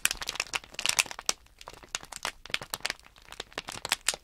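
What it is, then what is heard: Crinkled plastic package bag. Thumbs and fingertips crinkle and press the top of a small sealed plastic Nanoblock package bag holding blocks. A rapid series of sharp, bright, dry crackles and crinkles follows, with almost no low end and each snap dying away instantly.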